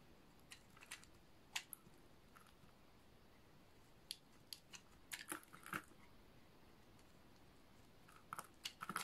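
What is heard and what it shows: A utility knife blade is scraped across the face of a solid, dry, light blue oval bar of soap. Short, scattered, crisp scraping crunches with a bright edge stand out against a quiet, steady hiss. The scrapes come in small clusters with pauses between them.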